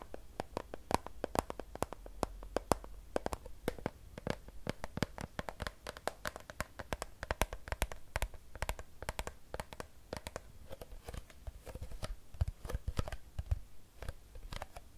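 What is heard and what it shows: A Fiji plastic water bottle, hollow and filled with water, is held in one hand and tapped and scratched with long nails. A rapid, steady series of sharp, dry clicks rings a brief hollow tone around 520 Hz, mixed with faint scratching over a low rumble.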